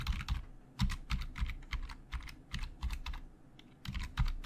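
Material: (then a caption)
Plastic. Fingertips type fast and tap on the hollow plastic keys of a black plastic Logitech full-size keyboard. Quick, irregular bursts of bright clicky taps ride over a low thumping undertone, each key strike short and dry.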